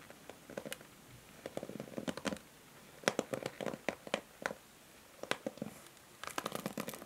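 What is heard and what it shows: Long nails scratch and strum the white plastic bristles of a pink plastic paddle hair brush. Clusters of quick, dry, crackling flicks with bright edges and a faint mid-range plasticky tone come in bursts separated by quiet pauses.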